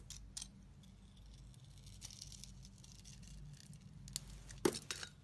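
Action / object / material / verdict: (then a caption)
scrape / bar of soap with a glitter coating / soap / none. A utility blade shaves the pink glitter layer off a solid rectangular white bar of soap held in the hand. Soft, crisp scraping and cutting strokes sound over a low steady hum, ending with a few louder, sharper scrapes.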